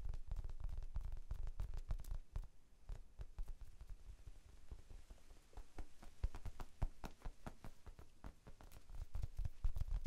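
Fingertips tap a small, rectangular pink foam sponge, soft and solid, held in both hands. The result is a fast, irregular patter of quiet, muffled low thuds with almost no ring. The tapping is a little louder at the start and end than in the middle.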